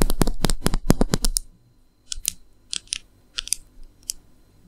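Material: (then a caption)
Plastic. A slim black plastic eyeliner or brow pencil, small and likely hollow, is held horizontally in both hands over a red bag and tapped and scratched along its length with long manicured nails. A dense run of quick, bright clicking taps fills the first second and a half, then a pause. Sparser clicks and scratches follow in short clusters.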